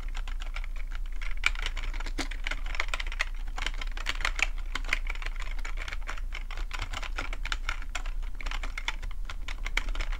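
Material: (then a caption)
Plastic. Fingertips of both hands type fast on a black plastic full-size computer keyboard with a hollow housing, resting on a fluffy rug. A steady, dense stream of short, crisp key clicks and clatter is heard, with bright tops and a mid focus around 2.3 kHz. A constant low rumble runs underneath throughout.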